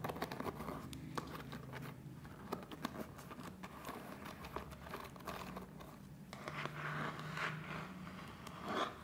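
Fingertips scratch and strum across the rows of wooden pins on a hand-sized, solid-bodied wooden (bamboo-style) paddle hairbrush. The result is a steady run of quick, dry clicks and scratchy rustling over a faint low hum, growing brighter and busier toward the end.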